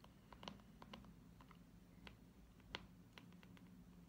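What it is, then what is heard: Plastic cosmetic jar. Fingernails tap on the lid and sides of a small, round, hollow purple plastic hair-wax jar with a screw lid, held close to the ear. The result is a quiet, irregular run of light, sharp clicks that die away almost instantly over a steady low hum.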